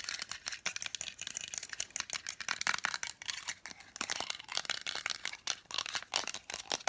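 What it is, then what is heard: Painted wooden nesting doll tapped with nails. Long nails tap rapidly on a hollow, hand-painted, lacquered wooden nesting doll held upright. The result is a fast, dense stream of bright, dry clicks with almost no low end. Each tap dies away almost instantly.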